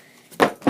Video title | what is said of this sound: LifeProof iPhone 4S/4 Case - Review | there really isn't much of a big sound when it drops it's good that there rubber because it kind of bounces back